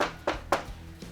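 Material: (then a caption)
Steel. Taps on the double-walled steel lid of a gas barbecue give short, dull thuds that die away almost at once. The lid sounds filled rather than hollow, because thermos-like insulation sits between its outer and inner steel liners.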